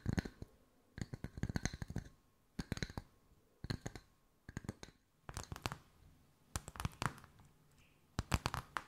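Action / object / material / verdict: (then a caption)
tap / wooden discs / wood / none. Wooden circles are tapped with the fingertips at mixed speeds, giving quick, dry clicks in short bursts separated by brief pauses. The taps are soft and low-weighted with very little ring, and some carry a faint bright edge.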